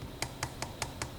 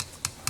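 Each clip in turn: First: Six quick, bright taps on a rigid plastic housing, each a short crisp click that dies almost at once. Second: Two quick, dry fingertip taps with a coarse, gritty click and almost no ring, typical of a powder-coated metal housing.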